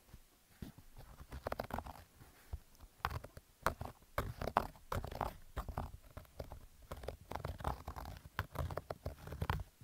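Fingernails scratch along the stitched rows of a black Adidas cotton/polyester baseball cap with a stitched brim and hollow crown. The result is a dense run of short, dry, rough scratching bursts with a muffled, low-heavy tone and little high-end sparkle. The bursts come in uneven clusters with brief pauses between them.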